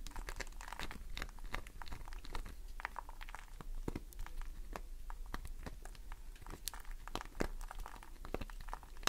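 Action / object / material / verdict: scrape / glycerin soap bar / soap / none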